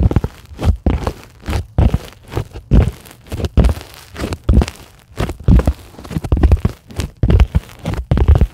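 Long glittery acrylic nails on both hands scratch a flat, solid white sheet of closed-cell polyethylene foam in a series of short, uneven strokes. Each stroke makes a dull, low, crunchy scrape with almost no bright content, separated by brief quiet gaps. The sound stops dead after each stroke, with no ring.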